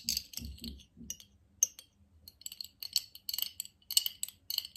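A small, clear, empty, hollow glass jar is held in both hands while fingertips, nails and the metal rings on the fingers tap and clink against it. The result is a quick run of short, bright, high clinks and ticks with almost no ring, uneven in loudness, and low murmurs come in under the first taps.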